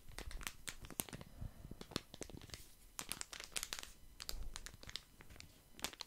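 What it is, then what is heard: Plastic wet wipes packet being crinkled. A small, flat plastic wet wipes packet printed with lemons is held in both hands while the fingertips squeeze and crinkle it close to the mic. Dense bursts of sharp, bright crinkling and crackling come in quick clusters, with short pauses between them. The snaps are dry and die away at once.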